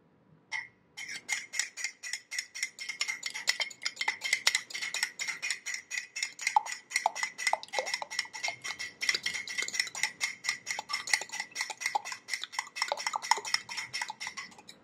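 A hand holds a medium, hollow ceramic coffee mug with a teal printed exterior, a handle and a little liquid inside, while a metal spoon stirs and clinks against its inner walls. A fast, steady run of bright, short clinks continues for the whole clip, each dying away almost at once over a thin, constant high ring.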